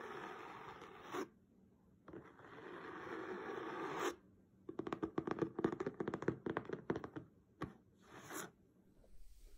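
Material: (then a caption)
Cloth, board. A blue patterned cloth-covered hardcover book lies flat while fingertips and nails scratch and tap its cover. Two long, steady scratching passes are followed by a burst of quick, crisp taps and short scrapes, then a few brief strokes. The sound is dry and textured, centred in the low mids with faint high hiss.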